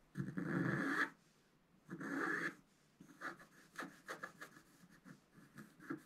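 A wooden stylus scratches a curtain drawing into a flat black-coated scratch-art card, a solid flat sheet. Two long, rough rasping strokes come first, followed by a quick, uneven run of short dry scratches with a bright, papery edge around the midrange.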